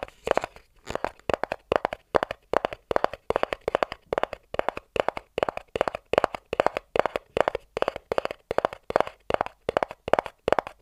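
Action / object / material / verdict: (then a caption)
tap / small cardboard box / cardboard / none. A small white cardboard inner box, open at the front and empty-looking, is tapped rapidly on its top with fingertips and nails, about 66 times in quick clustered bursts. Each tap is a dry, short, hollow tick centered in the midrange around 600 Hz, with almost no low or high content.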